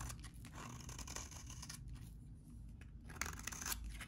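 A utility knife blade scrapes and shaves the surface of a solid, hand-sized, very dry vintage orange soap bar held in one hand. Dry, crackly scraping strokes come in bursts with bright, gritty highs over a steady low rumble. Sharper bright peaks stand out near the end.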